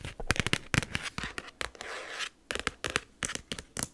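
Long nails and fingertips tap and scratch a large black plastic expanding file folder with a snap button and colored tabs, lying flat. Sharp, bright clicking taps come in quick irregular bursts, broken by a sustained scratchy rub in the middle.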